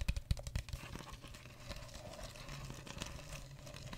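A mostly empty clear plastic drink bottle with a red cap and label is held in the hand close to the mic while fingers squeeze, crinkle and tap it. Sharp, low, thumpy taps come first, then settle into a steady, quieter crinkling with short, dry clicks and a faint bright rustle.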